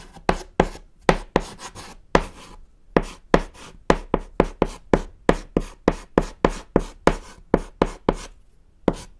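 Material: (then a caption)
Chalk. A thick stick of chalk held in the fingers scratches across a small, solid, flat black chalkboard panel while writing text. About 23 short, sharp, dry strokes come in quick succession, each a bright broadband scrape that stops almost at once.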